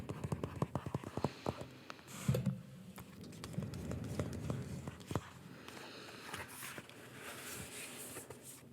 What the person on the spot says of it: I'm a tapping fan but I don't like my tapping to be too loud